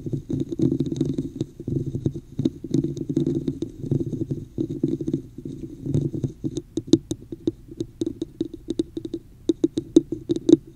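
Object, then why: Textured plastic cup. Long nails tap and scratch the top of a hollow red plastic cup with a woven texture held over the mic. Dense, hollow, muffled scratching with a boomy resonance near 320 Hz fills the first six seconds, then gives way to sharper, separate taps with bright clicky edges.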